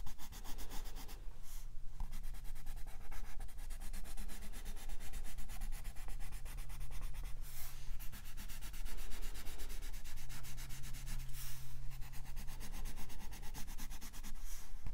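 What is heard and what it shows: A wooden colored pencil held in the fingertips rubs and scratches across the thin paper page of an open softcover coloring book lying flat on a fluffy rug, while the other hand rests flat on the book. The result is a steady, dense, papery scratching and rubbing that continues throughout, with a faint low hum beneath it.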